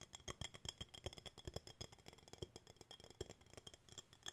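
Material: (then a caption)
Glass. A small, hollow, empty clear glass jar with a wooden bamboo lid is held in both hands and turned over while fingertips and nails tap its glass walls and lid. The result is a quick, irregular run of short, crisp clicks with a bright glassy tone near 3.2 kHz and soft low thumps underneath. Each tap dies away almost at once.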